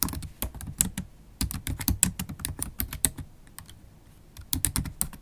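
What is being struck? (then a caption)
Plastic laptop keyboard keys. Long acrylic nails and fingertips type fast on a MacBook Pro keyboard with black plastic keys in an aluminium body. Rapid clacky key taps come in bursts, with a pause in the middle before a final flurry. The clicks are dry and short, with a low body and bright tips.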